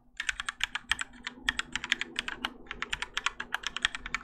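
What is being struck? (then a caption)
Mechanical keyboard with plastic keycaps. Both hands type continuously with their fingertips on a Keychron K4 compact mechanical keyboard with Gateron Yellow switches and grey and orange ABS plastic keycaps, its plastic and metal case resting on a desk mat. About thirty quick, bright clacks follow one another in a steady, slightly uneven rhythm, each dying away almost instantly with very little low end.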